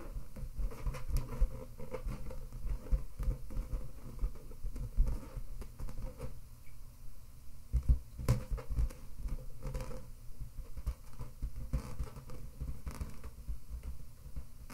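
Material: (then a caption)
Latex. Long red-painted nails scratch and tap the surface of an inflated, hollow, air-filled pink latex balloon held in both hands. The result is a quiet, continuous patter of soft, dull thumps and rubbery scratching, with nearly all the energy in a low, muffled register and very short decays.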